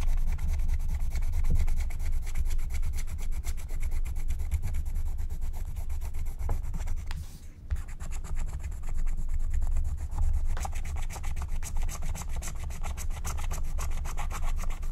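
A wooden stylus scratches and rubs the coating off a thin black-coated scratch-art card lying flat, in small strokes while the other hand holds the sheet. Dense, rapid, dry scratching strokes run steadily over a heavy low rumble, with a brief dip near the middle before the scraping resumes.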